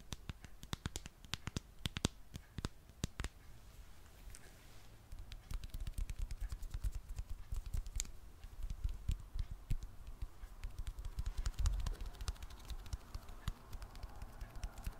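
A smartphone in a dark plastic case with a popsocket is tapped and scratched with long nails. Rapid, dry clicks and taps with a low, dull body sound over a faint scratchy rustle, each hit dying away almost instantly. The tapping grows denser and slightly louder after about five seconds.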